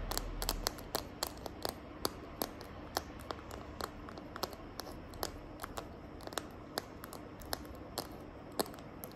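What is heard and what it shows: Long nails tap and scratch the back of a small, hand-held smartphone in a green glitter plastic case. Many sharp, bright clicks stand out over a soft, steady scratching hiss, each click dying away almost instantly.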